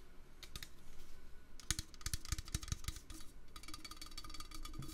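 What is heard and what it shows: Fingers tap quickly and lightly on a metal can, making soft low thuds mixed with bright, crisp ticks that die away almost at once. The taps come in irregular bursts, grow denser through the middle, and settle into a steady, rapid patter at the end.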